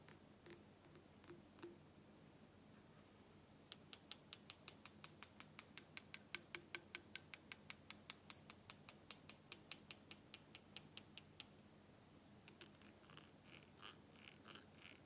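An empty, medium-sized clear glass carafe, hollow and held upside down, is tapped with a pink plastic straw and with fingernails. A few sparse taps give way to a quick, steady run of bright, short clinks with a high ringing tone, and the run thins into softer, scattered taps at the end.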